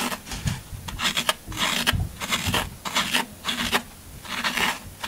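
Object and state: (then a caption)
Floral foam block scraped. A pointed tool scrapes and gouges crumbs from the side of a solid green floral foam half block held in the hand. The result is a series of bright, crunchy rasping scrapes in irregular bursts, with short, dry crackles and little low end.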